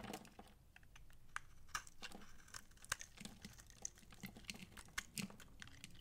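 A utility knife blade scrapes the bumps off a dry, palm-sized, solid light green massage soap bar held in hand and shaves off long curls. It makes a quiet, steady run of rapid, dry, crisp scratches and ticks with bright crackle and a soft low rasp underneath. Each tick ends almost instantly with no ring.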